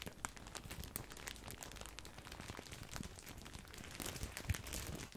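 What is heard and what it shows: A large, full, white printed plastic bag of grissini breadsticks is crinkled with the fingertips. It makes a quiet, steady stream of dense crinkling and crackling, with bright papery rustle over a soft low rumble. A slightly louder crunch comes near the end.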